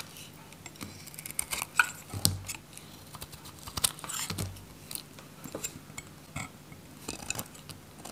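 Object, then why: Bar of soap cut with a metal knife. A metal utility knife shaves, cuts and scrapes the surface of a solid orange dry soap bar held in the hand. Quiet, irregular dry scraping and crisp crackling snaps come in clustered bursts with bright, hissy edges. A few sharper cracks stand out, and each fades almost at once.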